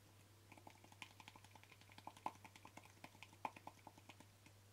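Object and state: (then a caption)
Plastic cream jar. Short fingernails tap the flat lid of a small white plastic jar with a yellow label, making 26 quick, dry clicks in an uneven rhythm. The clicks are crisp and die away almost instantly, with a few louder taps standing out over a steady low hum.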